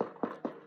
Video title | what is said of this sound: Glucology Travel Supply Cases with Andi Balog | a hard shell on the outside, kind of like a foamy feeling to it, but it is hard. You can hear when I'm knocking on it like that